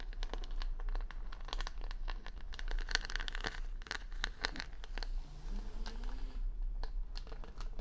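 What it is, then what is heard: Plastic rhinestones on a wooden hair brush being scratched. Long nails scratch and tap across the plastic rhinestones on the back of a wooden paddle hair brush held close to the mic. The result is a dense run of sharp, crisp clicks and crinkly scratches with bright ticks over a steady low hum, and a faint rising low tone near the end.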